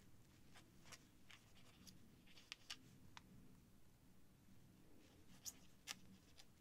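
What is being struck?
Paper sheet and feather quill.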